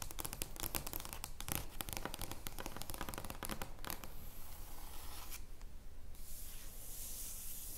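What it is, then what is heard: Large paper playing card. An oversized flat paper or cardstock joker playing card lying on a wooden table is rubbed and scratched with long painted fingernails and fingertips. The first half is a dense run of crisp, crackling scratches and taps. It then gives way to a smoother, steady papery rubbing hiss with a bright, airy edge.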